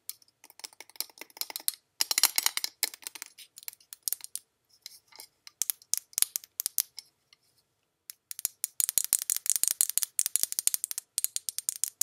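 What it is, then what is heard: Glass perfume bottle. A faceted glass Jean Paul Gaultier La Belle perfume bottle, about 12 cm tall, filled with pink-red liquid and topped with a gold rose cap, is held up and tapped on its facets with long pink nails. Dozens of quick, bright, high-pitched clicks come in rapid bursts separated by short pauses, each dying away almost instantly with no low-end body.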